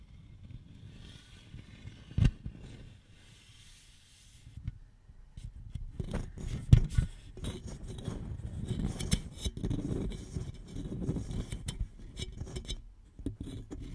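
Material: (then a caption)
Aluminum. Long nails scratch and scrape along the side wall of a single hollow red Shasta aluminum soda can held horizontally. The result is a dense, mostly low, rustling scrape with quick dry rasps and a few sharper clicks standing out, ending in a brief quieter pause before the scratching resumes.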